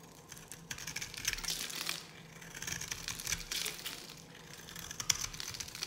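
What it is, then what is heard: Dry bar soap being cut. A palm-sized solid bar of dry yellow soap is held in the hand and carved with a metal knife blade, scraping flakes off with repeated cutting and scratching strokes. The result is a dense, dry, crackly scraping sound that is mostly bright and high, with sharp ticks and very little low end or ring.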